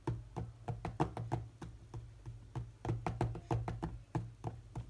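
Fingertips of both hands tap rapidly on the glass touchscreen of a large, solid tablet lying flat. About 21 short, dull knocks land in an uneven rhythm, weighted toward the low end and dying away almost instantly, over a faint steady low hum.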